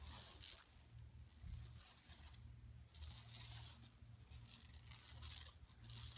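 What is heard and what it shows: Long nails of both hands spread across a large, flat, empty yellow woven plastic mesh tote bag lying on carpet scratch over its surface. The sound is bright, crackly scratching in rolling bursts over a low steady hum.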